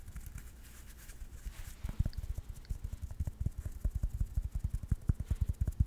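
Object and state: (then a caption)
Felt-covered tennis ball. A yellow tennis ball with a hollow rubber core and felt cover is held close to a microphone and scratched and tapped with fingertips and nails. Soft, airy scratching comes first, then a quick run of dull, low thumping taps that stop almost at once with no ring.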